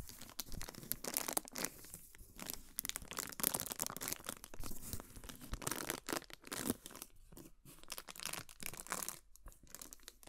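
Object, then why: Cardboard gift box. Long nails scratch and tap a large, hollow, heart-shaped cardboard gift box with a white-and-gold heart pattern, held in the hands. The result is quiet, dense, papery scratching with bright crinkly hiss, broken by short dry taps and brief silent gaps.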